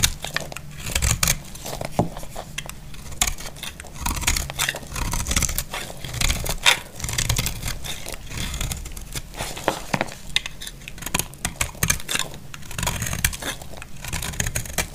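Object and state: Dry bar soap being shaved.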